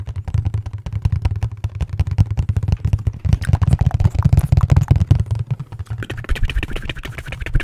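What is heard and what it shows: Fingertips and nails tap and scratch the surface of a hollow, dark printed cardboard product box, which is held close at one point. The result is a fast, uneven stream of short, dull, low thuds with almost no ring, and a brighter scratchy texture rises near the end.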